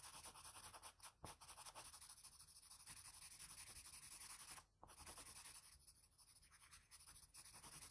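A blue wooden graphite pencil, held in the fingers, makes fine scratching strokes near the eye and nose of a graphite portrait on a flat sheet of drawing paper. The result is a steady, bright, dry scratching hiss, broken by brief pauses near 1.2 and 4.7 seconds.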